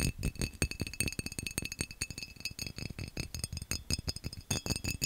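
A textured glass vase is tapped fast and aggressively, producing a rapid, irregular stream of sharp taps and clinks. Each tap has a low knock beneath a bright glassy ring that dies away almost instantly.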